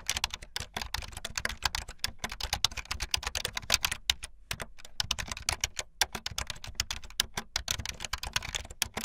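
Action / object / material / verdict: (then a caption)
tap / plastic computer keyboard / plastic / none. Fingertips with long light-blue nails type fast on a full-size plastic keyboard with white, blue and yellow plastic keycaps and a blue backlit frame. A rapid, steady stream of short, bright, clacky key clicks dies away almost instantly, with a soft low thump under each press and a few brief gaps between bursts.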